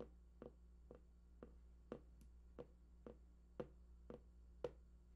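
Fingertips tap near the right edge of a large, hollow, printed cardboard PlayStation 4 box whose contents are unknown. Eleven soft, dull knocks land at a steady pace, each with a short mid-pitched thud that dies away almost instantly. A faint low hum runs underneath.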